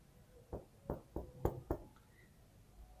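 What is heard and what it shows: Five short, dull knocks on a solid area of plaster wall, away from a hollow-sounding spot near a crack, for comparison. Each knock is a brief low thud that dies away almost at once with no ring. The plaster here sounds solid.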